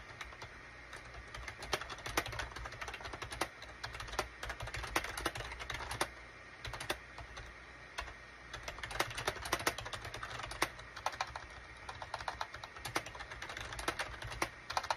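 Fingertips of both hands type rapidly on a gray SHIPADOO K600 full-size wired USB keyboard with a gray plastic case and cream, gray and orange plastic keycaps. A steady stream of short, dry plastic clicks and taps comes in quick bursts, with brief pauses and a faint low hum underneath.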